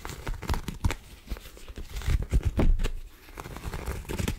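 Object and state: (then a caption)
Cotton rope coaster. A round white coiled woven cotton rope coaster, flat, solid and soft, is held in both hands and scratched across its textured surface with long acrylic nails. The result is a run of quick, dry, fibrous scratching and tearing-like rasps in uneven bursts, with a soft, muffled low-heavy body.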